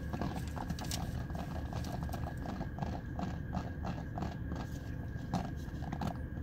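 Fingertips with dark-painted nails tap the smooth, hollow-looking plastic back of a small handheld hairbrush shaped like a dog face, its bristles facing away. The result is a quick, steady run of light, hollow clicks over a constant low rumble and a faint steady tone.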